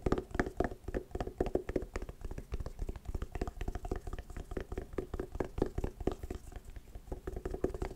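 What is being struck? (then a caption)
Fabric-covered hard sunglasses case. An oval, hollow hard sunglasses case covered in patterned woven fabric is tapped rapidly with nails and fingertips. The result is a dense, steady stream of short, dull, hollow knocks with a low-mid tone and almost no ring or bright edge.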